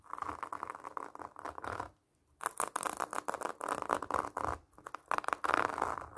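Long nails scratch across the orange plastic mesh net and rind of a large, solid pomelo tied with a red ribbon. The result is a dense run of dry, raspy scratching, centered in the midrange with a bright hiss on top. A brief silent pause comes near the two-second mark before the scratching resumes in quick strokes.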